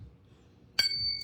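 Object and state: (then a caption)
Genuine bell-metal medallion. A medallion made of chalice and bell metal is flicked once with a finger, giving a clear, bright ringing clink with high, steady tones that sustain briefly. The clear ring shows the medallion is genuine chalice and bell metal.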